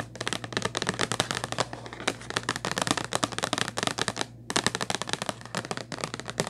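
Long nails rapidly tap and scratch a hollow purple Kleenex cardboard tissue box, making a dense run of sharp, dry clicks and scrapes. A steady low hum runs underneath, and the tapping pauses briefly around the four-second mark before resuming.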